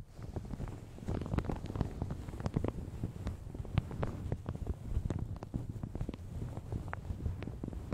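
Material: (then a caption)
Plastic. Long red nails scratch and pinch a light blue plastic shower cap stretched over a large hollow Yeti microphone. The result is a steady, dense crinkling with many quick sharp crackles over a heavy low rumble, with little high-end content.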